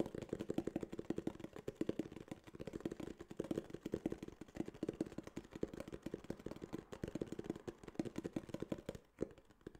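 A small, hollow tan kraft cardboard case is held upright and tapped rapidly with fingertips and nails. The taps come as a fast, steady patter of dull, hollow knocks, mostly low-mid with little brightness and almost no ring. They thin out and quiet down near the end.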